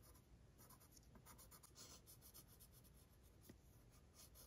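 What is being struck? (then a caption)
Paper sheet scratched with a pencil. A blue mechanical pencil tip scratches continuous sketch strokes across a thin, stained, aged paper sheet resting flat and solid-backed on a wooden easel. The sound is a quiet, steady, dry scratching with bright, hissy stroke textures over a low background rumble, with each stroke fading almost instantly.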